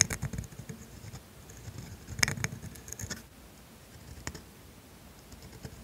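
A steel calligraphy dip pen nib scratches ink strokes across thin grid paper lying on a desk. The strokes come as quiet, dry, bright scratches in uneven bursts, with a sharper scrape in the middle and a brief tick near the end, over a soft low background hush.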